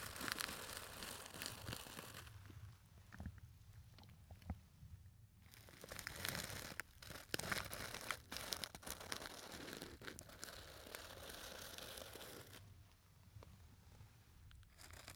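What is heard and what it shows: A small, hollow gold glitter textured fabric clutch purse, held upright, is scratched and rubbed with fingertips close to the microphone. The result is a bright, crackly scratching and crinkling texture that comes in dense bursts separated by quieter pauses.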